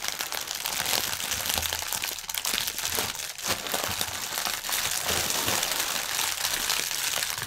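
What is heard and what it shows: A clear plastic air-cushion packaging film strip lying on a table is pressed and rubbed with the fingertips of both hands. It produces continuous, dense, bright crinkling with sharp crackles, and almost no low end.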